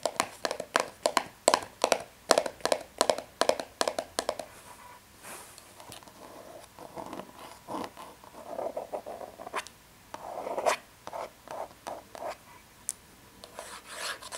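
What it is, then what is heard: Cardboard tea box. Fingertips and long red nails tap quickly on the front face of a small, hollow, printed cardboard tea box with an embossed surface, making crisp, short knocks with a hollow midrange tone. The tapping then gives way to softer rubbing and scratching across the embossed surface, broken by a few more scattered taps.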